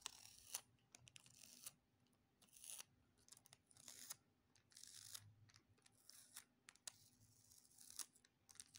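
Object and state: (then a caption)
Clear plastic sticky tape being stuck and peeled. A small piece of clear, thin plastic sticky tape is held between fingertips over a wooden table, and its sticky sides are pressed together and pulled apart with fingertips and short nails. The result is quiet, bright, crackly peeling bursts with sharp little snaps and ticks, separated by brief near-silent pauses.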